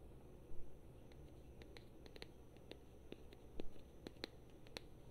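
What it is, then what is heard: Small plastic figurine. Long painted fingernails tap and scratch a small, solid plastic Super Mario amiibo figure on a round base held in the hand. Quiet, sharp, dry clicks and light scratches scatter over a steady low hum, with a couple of louder bursts of tapping.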